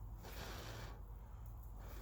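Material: Nothing is struck.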